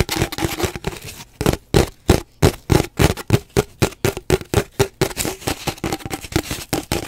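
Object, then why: Cardboard paper towel tube. Long nails scratch and tap along an empty, hollow cardboard paper towel roll held at an angle. The result is a quick, irregular series of dull, hollow knocks and scratchy rasps with a low, boomy body, each dying away almost at once.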